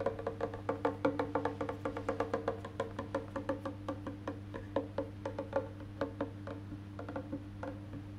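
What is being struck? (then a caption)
Painted wooden electric bass body and maple neck. Fingertips tap and drum on the back of an electric bass guitar, across its solid painted wood body and maple neck. A quick, uneven run of short, dry wooden knocks with a woody tone around 285 Hz rings out over a steady low hum, each tap dying away almost at once.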